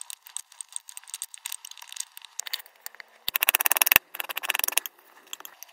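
A small solid slab of yellow and red kinetic sand on a white surface is sliced, pressed and scraped with a metal spatula or knife held in the fingers, mixing it into an orange mass. Dry, bright crunching and scraping ticks come in quick bursts, with a dense, louder run of crisp taps in the middle before it settles back to lighter scraping.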